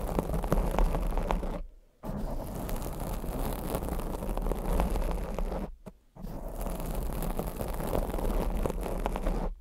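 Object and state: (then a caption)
Foam microphone windscreen being scratched. Long blue acrylic nails lightly scratch and tap the sides of a black foam microphone windscreen. The result is a dense, muffled, bass-heavy rustling and scraping with soft taps mixed in. It stops briefly twice before resuming.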